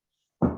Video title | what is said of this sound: GROW Community Chef Series - Multigrain Bread with Carlee & Trevor | if you give it a knock on the bottom and it sounds hollow that means it's done